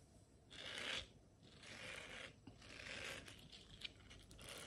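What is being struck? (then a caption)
Silicone scrubber pad. Long nails scratch across the bristled surface of a round blue silicone scrubber pad. The result is a series of soft, hissy scraping strokes, mostly high-pitched rasp with little low end, swelling and fading unevenly over a few seconds.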